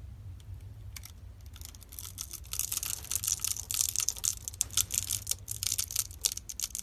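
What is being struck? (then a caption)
Bar of soap cut with a metal blade. A metal utility knife blade scrapes and slices a solid pink bar of dry soap held in the palm and pre-scored in a grid, breaking off small soap cubes over a pile of soap flakes. Quiet, sparse scraping at first builds into a dense run of sharp, bright crunches and crackles with a faint low hum underneath.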